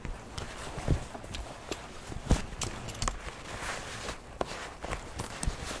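A black leather biker jacket with metal studs and a zipper, soft and hollow, is held in both hands while long-nailed fingertips rub and squeeze the leather. The result is a steady, low, soft rustling and crinkling, broken by scattered brighter creaks and a few sharper dull thumps as the leather is handled.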